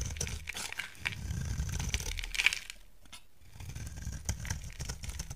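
A utility knife blade shaves a solid pink soap bar held in the hand, peeling off fine curls with dry, crisp scraping and crunching strokes. The sound is bright with a soft low rumble underneath, pausing briefly to near silence about midway before the shaving resumes.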